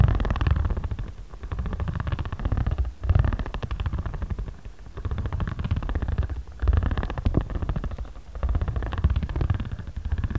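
A ridged spiral roller is rolled and scraped across the right side of a flat, solid stack of origami paper with a card cover. It makes a low, rumbling, rapid ridged clatter that swells and fades in repeated passes, with brief pauses between strokes.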